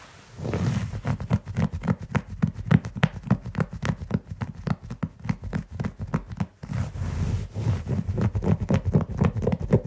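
Fingertips and short nails of both hands scratch the pile of a large beige synthetic carpet in rapid, uneven strokes, about three to four per second. Each stroke is a short, dry, low-heavy rasp with brushy crackle above. A brief pause comes near the 6.5-second mark before the scratching resumes.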